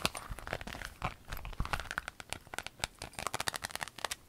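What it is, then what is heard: Clear vinyl pencil case. Long acrylic nails tap and scratch a flat, empty rainbow clear vinyl pencil case lying on a table. A quick, uneven run of sharp, bright clicks mixes with crinkly scratching and soft crunching. Each tap stops almost at once with no ring.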